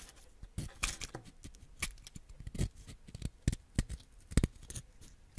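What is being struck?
Wax crayon and ceramic knife blade.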